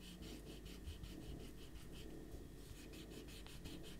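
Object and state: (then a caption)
Paper being erased. A small rubber eraser is rubbed hard back and forth across a stack of thin white printer paper with a pencil drawing on a white table, while the other hand steadies the sheets. The result is a quiet, steady series of quick, bright scratchy swishes over a constant low rumble.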